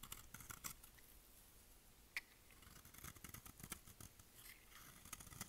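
A solid, dry white bar of soap with pink specks, held in the hand, is shaved with a utility knife blade. The result is quiet, crisp scraping and cutting, with a rapid series of short, bright scratchy ticks and one sharper snap partway through.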